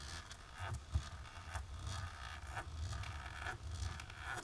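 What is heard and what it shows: Long natural pink nails on both hands, worn with lace fingerless gloves, scratch a flat dark embossed plastic sheet lying on a table. Repeated dry, raspy scraping strokes rise and fall over a steady low rumble, with bright scratchy streaks marking each pass.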